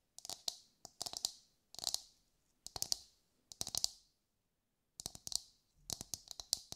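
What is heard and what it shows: A brown husked whole coconut with a hard fibrous shell is held in both hands and tapped with long light-grey nails. About 23 quick, dry, bright clicks come in short bursts separated by brief pauses, each dying away almost instantly with no ringing and almost no low end.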